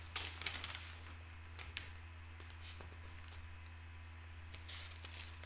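One hand lifts and turns a page of an open broadsheet newspaper of thin paper on a wooden table, then smooths it flat with the fingertips. Bright, crisp crinkling and rustling bursts come first, settling into softer scattered crackles and light brushing strokes over a steady low hum, with a brief rustle swelling again near the end.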